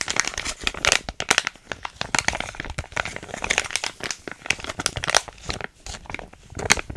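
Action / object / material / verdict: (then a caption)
scrape / foil-lined paper sachet / foil laminate / none. A small, thin, soft cosmetic sachet (a biotin hair mask packet of paper and foil laminate) is held in both hands close to the mic and crinkled and squeezed with fingertips and long painted nails. It makes a dense run of dry, bright crinkles and crackles with little low end. Each crackle stops sharply with no ring.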